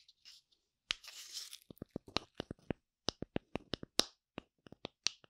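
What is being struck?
Wooden tree slice with bark.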